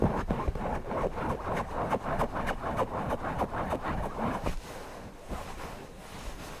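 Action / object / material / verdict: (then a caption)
scrape / stuffed cotton cushion / cotton fabric / none. Fingertips scratch and rub the fabric around the beak and body of a stuffed cotton owl cushion. Quick, rhythmic, dry scratching strokes with soft low rustle fill the first four and a half seconds, then settle into a quieter, steadier brushing rub to the end.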